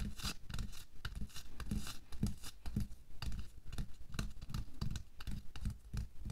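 Bare fingertips and nails scratch and rub over a thin pink latex or nitrile glove worn on a hand resting flat on a white table. The result is a steady run of quick, dry scratching and crinkling strokes over a low, muffled rumble, with brief bright rasps between them.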